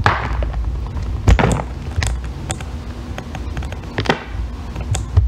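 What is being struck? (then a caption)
Bar of soap. A thin metal loop tool shaves a solid green bar of soap into curled ribbons, making soft scraping strokes with brief bright rasps. Low, dull thumps and taps sit underneath, with a few louder knocks standing out along the way.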